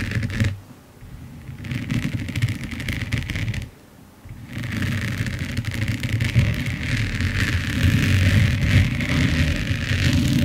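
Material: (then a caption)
Resin. Long nails scratch across a large finished diamond painting of resin rhinestones on canvas lying flat, making a dense, grainy scraping with a strong low rumble and a bright, hissy edge. The scratching drops quiet twice, around the first second and near the four-second mark, then grows steadier and slightly louder toward the end.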